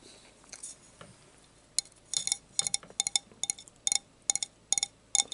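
A drinking glass is tapped for ASMR between bites of dinner, giving a quick, irregular series of short, bright clinks with very little ring. The clinks begin after a quiet stretch and continue to the end.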